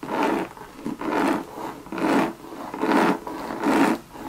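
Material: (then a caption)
Coated canvas. Long red nails scratch and rub the surface of a hollow Louis Vuitton monogram coated canvas and leather bucket bag. Six rhythmic, raspy strokes swell and fade, with a mid-range scraping texture centred around 281 Hz.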